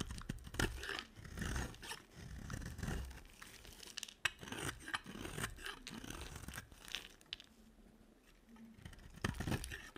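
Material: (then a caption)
Soap. A box cutter carves and scrapes an oval, silver-coated, solid dry soap bar, making dry, crunchy scraping and crumbling sounds in quick, uneven bursts. The scraping thins to a quieter lull near the end before a final burst of crunchy cuts.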